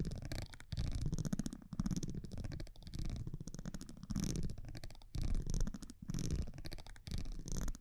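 A metal tweezer-like tool scratches and taps along the face and top edge of a thin cardboard baseball trading card held in the hand. The result is a dense, rapid rasping and clicking with a heavy low-end rumble, coming in bursts separated by brief pauses.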